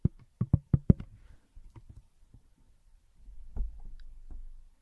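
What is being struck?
Smartphone in a plastic case.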